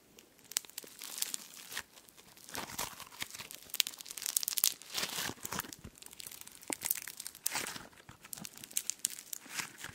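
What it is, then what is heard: Foam slime with polystyrene beads. Pink foam slime packed with polystyrene beads is stretched and squeezed by fingertips right beside the microphone. It gives a continuous, crunchy tearing and crinkling crackle in bright, high bursts that swell and fade over ten seconds, with almost no low end.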